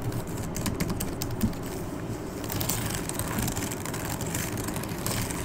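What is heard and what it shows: Fingertips with long red nails tap and type on the plastic keys of a backlit laptop keyboard. Quick, light clicks come in rapid bursts over a steady low hum. A few sharper taps stand out before the typing settles into an even patter.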